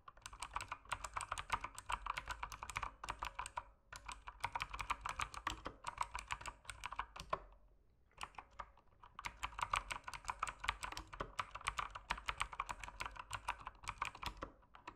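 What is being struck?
Mechanical keyboard with plastic keycaps.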